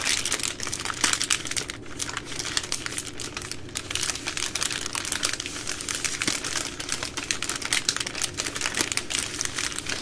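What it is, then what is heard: Plastic baby wipes pack, crinkled and tapped. A full soft plastic pack of 80 baby wipes with a hard plastic lid is held in both hands while long nails tap and scratch its plastic film. The result is a continuous, bright crinkling texture dotted with dense, quick taps that die away almost at once.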